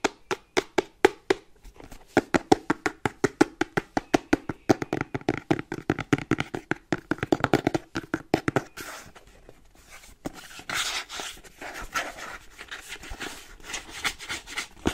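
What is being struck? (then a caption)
Cardboard box. A closed, hollow plain kraft cardboard inner box held in the hands is tapped on its faces with nails and fingertips, giving a fast run of short, dry, hollow taps. After about nine seconds the sound turns into a quieter, brighter, continuous scraping texture with lighter taps mixed in.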